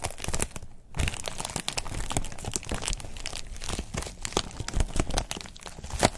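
A thin white textured foam wrap sheet is squeezed and crinkled by fingers up close, giving a continuous stream of dense crinkling and crackling with many sharp, bright transients. There is a brief lull near the one-second mark, then the crinkling resumes.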